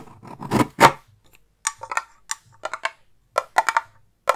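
Long painted nails scratch and tap a hand-sized, hollow round metal tin with a gold lid and printed label, held next to a fluffy microphone. A scratchy rustling scrape swells over the first second, then quick clusters of bright, dry taps ring briefly against the tin.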